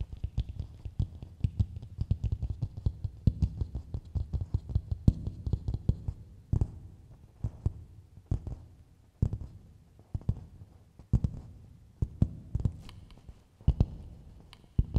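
Long nails tap and scratch the outer surface of a medium, hollow, empty coconut shell bowl held upside down. Rapid, dense tapping for the first six seconds gives way to sparser, sharper taps with soft scratching between them. The taps sound hollow and low, with a dull thump around 100 Hz and almost no ring.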